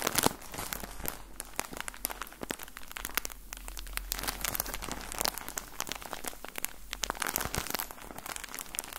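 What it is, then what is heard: Plastic bag of cotton balls being crinkled. A full plastic bag of cotton balls with an orange label is squeezed and crinkled by fingertips. Dense, bright crackling and crinkling runs continuously for the whole clip, with quick sharp snaps over a soft low rumble.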